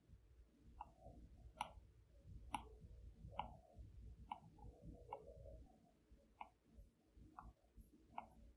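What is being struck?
Glass tablet screen and plastic stylus tip.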